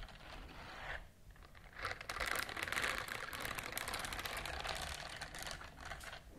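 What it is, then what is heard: Silicone scrubber glove scratched with nails. Long nails scratch across the bristles of a pink silicone scrubber glove, making a dense, rapid crackle of dry ticks. The scratching dips quiet for a moment near the start, then returns louder and fuller, with bright, crisp texture that continues steadily to the end.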